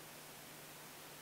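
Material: Nothing is struck.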